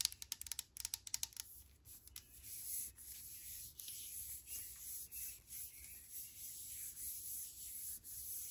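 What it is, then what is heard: Aluminum pump bottle. Long nails scratch and rub the side of a brushed aluminum hand sanitizer bottle with a pump, held in the hand. About 13 quick, sharp scratching ticks open the clip, followed by longer rhythmic rubbing strokes that produce a bright, hissy, high-pitched scrape with almost no low end.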